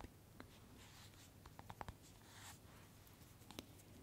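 Long manicured nails scratch and tap the surface of a small hollow PVC vinyl Funko Pop Mad Hatter figure with a large head and top hat, held close to the microphone. Soft, bright scratching runs under a scattering of short, dry clicks with a mid-range tone. Roughly nine quiet taps land at irregular intervals.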